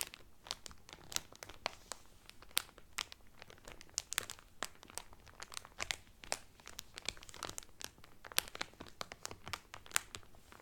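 Nails and fingertips scratch and crinkle cellophane film wrapped around a folded cotton Carnival Cruise towel. A steady stream of sharp, bright crackles and crinkles with quick pops and almost no ring.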